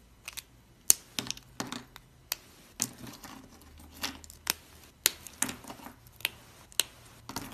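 Fingertips and thumbs snap and break small cream-white chunks of dry, solid soap among soap shavings. About fifteen crisp, bright cracking clicks ring out, each dying almost instantly, spaced irregularly over a quiet background.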